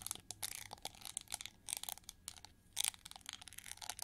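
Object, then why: Chrome-plated plastic hair brush. Long gold nails scratch and tap the ridged, wing-shaped back of a hand-sized, hollow, gold chrome-plated plastic hair brush with pink bristles. The result is a quiet flurry of dry, bright, crackly scratches and quick clicking taps with almost no low end, each sound stopping at once without ringing.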